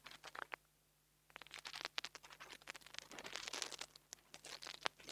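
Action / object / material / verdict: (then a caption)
scrape / small microphone with metal grille / metal / none. The tip of a metal nail tool scratches the metal grille on top of a small black plastic $2 mini lavalier microphone held between the fingers. Dense, bright, crunchy scratching and crinkly clicks come in quick bursts, with a short quiet gap near the start. Then a busier, almost continuous stretch of dry scraping follows, with no ring after each stroke.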